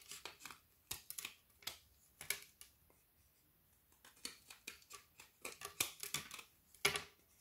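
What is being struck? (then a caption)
Frozen milk chocolate bar. A small kitchen knife blade scrapes and shaves curls off the edge of a solid frozen milk chocolate bar with hazelnut filling, about hand length and held in one hand. About 22 short, dense, brittle scraping strokes are heard, bright and crisp with almost no low end. Each stroke fades quickly, with brief quiet gaps between them.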